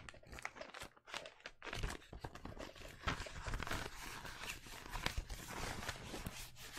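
A roll of blue penguin-print wrapping paper on a cardboard tube is held upright beside a microphone while fingertips and nails tap and rub along the paper surface. The sound is a dense run of soft, dull thumps mixed with crinkly, bright scratching that continues steadily, with short breaks, throughout the clip.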